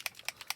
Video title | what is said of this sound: Alcohol lift ink note cards with Pink Peonies | You can hear the little metallic ball moving around in there.